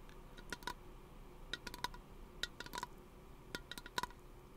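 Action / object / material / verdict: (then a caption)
tap / aluminum aerosol can / aluminum / none. Fingernails tap a small, hollow teal aluminum aerosol lotion can held close to the microphone, giving about thirteen quick, light metallic clicks in loose clusters. Each tap has a bright, tinny ring around 1 kHz with high overtones that dies away almost instantly over a soft background hiss.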